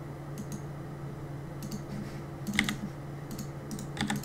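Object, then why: Plastic mechanical keyboard. Fingertips tap repeatedly on the plastic keycaps of a black Cooler Master mechanical keyboard resting on a desk during gaming. The result is short, sharp clicks in scattered bursts over a steady low hum.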